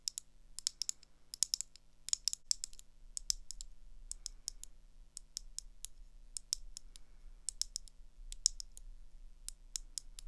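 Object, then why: Metal-framed eyeglasses with lenses. Long acrylic nails tap on the lenses and thin gold metal rims of round eyeglasses, making quick, sharp clicking taps. The clicks are bright and dry with almost no ring, arriving in irregular clusters over a faint low hum.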